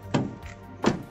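A steel door on a kei car is shut, giving two dull, solid thunks with a fainter knock between them, mostly low and mid tones that die away quickly. The door sounds solid and noticeably different, which is attributed to a thick paint layer confirmed with a thickness gauge.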